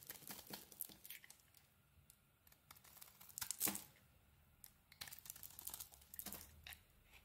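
A metal blade carves crumbly chunks off a solid yellow bar of soap that is partly carved and held in the hand. Quiet, bright, dry scraping and crumbling crackles come in clusters of short bursts, with the loudest cut in the middle. Between cuts there are near-silent pauses.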